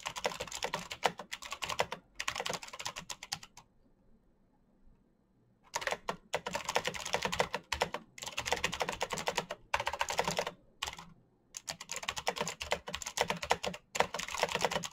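Fingertips tap rapidly on the keys of a black plastic mechanical keyboard, making dense bursts of short, bright clicks with almost no ring. The typing comes in runs broken by brief gaps, with a longer near-silent pause of about two seconds early on before it picks up again.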